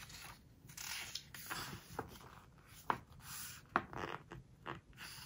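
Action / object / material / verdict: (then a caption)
scrape / glossy paper pages of a hardcover book / glossy paper / none. A fingertip and long nails rub across the glossy paper page of a large open hardcover book, making soft, breathy brushing and scratching with bright hiss. The page edge is then lifted and bent with the fingers, adding short, sharp crinkling snaps between quieter swishes.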